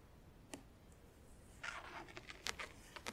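Long acrylic nails tap on the front edge of a closed, hollow, clear plastic compartment organizer filled with press-on nails. A single bright click comes first, then a quick run of sharp, dry taps with almost no ring over a faint background hiss.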